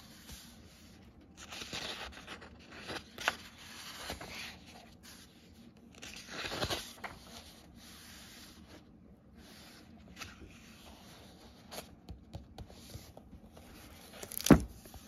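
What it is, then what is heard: Paper book pages. Fingertips rub and brush across the paper pages of an open book, making soft, airy rustles and scrapes with broad hissy bursts. Near the end a page is turned with a sharp, bright flick, the loudest sound in the clip.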